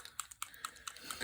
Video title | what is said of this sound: #26/100 Day Challenge: Gilded Fairy Tag | you shake this up until you hear that little ball